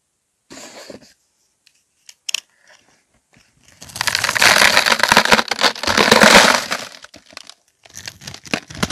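A solid dark gray-black soap bar with a scored grid, held in hand, is cut and scraped with a blade that sheds small cube chunks. Brief crisp scratches and a few sharp clicks give way to a long, dense, bright crackling scrape from about 4 to 7 seconds, followed by more short cutting scratches.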